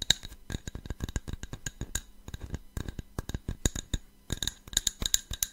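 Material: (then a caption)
Glass. A small, hollow, empty cut-glass tumbler with a faceted pattern is held in the hands near the mic and tapped and scratched with fingernails. A rapid, uneven series of sharp, bright clicks and taps rings only briefly, with a thin scratching texture between them. It makes a crisp, high glassy ticking.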